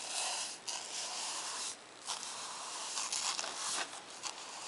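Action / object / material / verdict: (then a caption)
scrape / paper notebook page / paper / none. A bristle paint brush is swept back and forth across the flat page of a spiral-bound lined paper notebook lying on a wooden table. The result is a dry, bright, hissing rub in continuous strokes, with a brief softer gap between some passes and no low-end weight.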